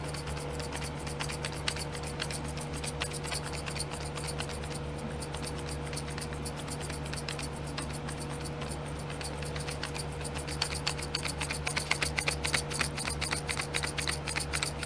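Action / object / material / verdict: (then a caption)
scrape / small plastic glitter pots on a plastic tray / plastic / none. A long glittery fingernail scratches rapidly across the lids of small clear domed plastic glitter pots sitting in a pink plastic tray. The result is a quick run of bright, dry plastic scratches and ticks over a steady low hum, growing louder and busier in the last few seconds.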